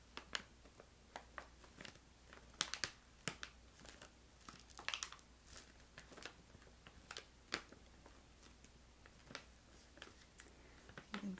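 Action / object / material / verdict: scrape / plastic stand-up pouch of candy / plastic / none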